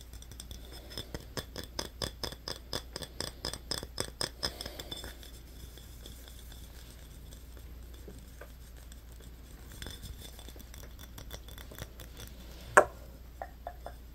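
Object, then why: Small glass bottle. Fingernails tap and scratch a small, empty glass Yoo-hoo bottle with a yellow cap held in the hands. A quick run of bright, clinking glass taps around 600 Hz fills the first five seconds, then gives way to soft scratching and faint ticks over a steady low hum. A single sharp, loud click near the end is followed by a few light taps.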